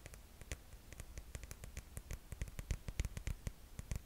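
A rose-gold glitter-strap sandal with a cork-style footbed is held up while long nails tap and scratch its straps and footbed. Quick, irregular, dry clicks with a low thump sit over a soft scratching hiss, each tap dying away almost instantly.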